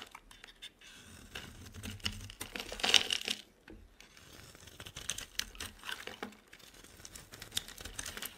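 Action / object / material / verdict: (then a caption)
scrape / soap bar carved with a knife blade / soap / none. A utility knife blade carves and scrapes flakes off the surface of a dry, solid oval purple Dove soap bar held in the hand. Bright, crisp scraping and crackling cuts come in quick bursts, peaking loudest about three seconds in. Each stroke ends dry with almost no ring.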